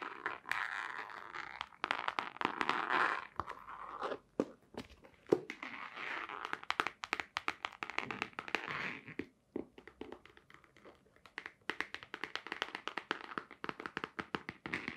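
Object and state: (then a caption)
Small cardboard box tapped with nails. A small, hollow white cardboard box with a black stripe, apparently closed, is held in the hands and tapped with long nails. The taps come as rapid, dry clicks in irregular bursts, with crunchy, crinkly scratches and thumps in between. Each tap dies away at once, with no ringing.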